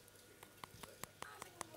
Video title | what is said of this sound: Arepas coloridas - #QuéMañana | le falta un cachi tiene que sonar como a Hueco cuando golpeas el pan